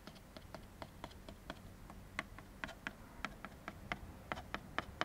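A large, thin, hollow-backed white molded paper fiber plate is held in one hand and flipped over while the teeth of a black plastic comb are scraped and tapped across its surface. About 20 short, dry, bright clicks and ticks come at an irregular pace over a quiet, low background hum, each dying away almost instantly.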